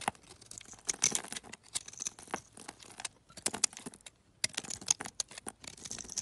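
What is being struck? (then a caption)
Bar of soap scraped with a metal knife. A metal utility knife scrapes and carves crumbly shavings off a hand-sized, greenish-beige solid soap bar held in a hand with painted nails. The result is a quiet run of fast, dry, bright scratching and crackling, with many short crisp hits and brief pauses between strokes.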